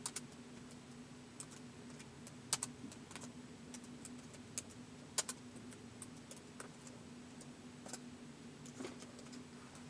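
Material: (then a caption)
Plastic. Fingertips tap slowly on the keys of a white polycarbonate laptop keyboard, the keys set on a hollow body, with the laptop resting on carpet. Sharp, bright plastic clicks come at an uneven pace over a quiet, steady low hum, each tap dying away almost instantly.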